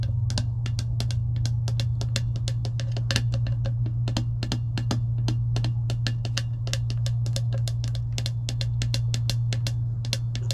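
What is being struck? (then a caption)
Clear plastic lid on a metal tumbler. Long acrylic nails tap and scratch on a clear plastic lid fitted to a metal tumbler, producing a rapid, uneven stream of sharp, bright clicks. A steady low hum sits underneath the tapping throughout, and the overall level stays even.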